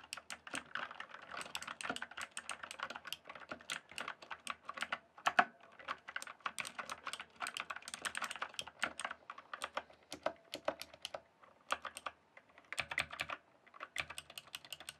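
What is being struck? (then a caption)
Mechanical keyboard with plastic keycaps. Fingertips type rapidly on a backlit mechanical keyboard with plastic keycaps, producing a dense stream of short, sharp, bright clacks that die away almost instantly. The typing runs steadily with brief pauses near 10, 12 and 14 seconds, and one noticeably louder keystroke stands out around 5.4 seconds.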